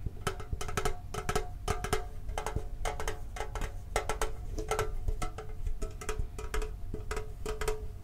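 A hollow, green printed, octagonal metal Pokemon card tin with its lid on is held and tapped with the fingertips and thumb. The result is a quick, irregular run of light, hollow metallic taps with a short tonal ring around 430 Hz. Each tap dies away almost at once over a low, soft body.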